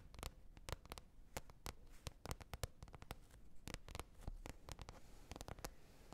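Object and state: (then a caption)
Plastic container lid tapped with fingernails. Long red nail tips tap a glossy green plastic container lid in quick, irregular succession, making short, dry clicks that die away almost at once. The taps are soft and close-sounding, with bright, crisp edges over a low, quiet bed of handling noise.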